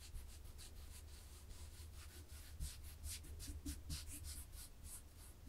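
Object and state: Knitted fabric being scratched.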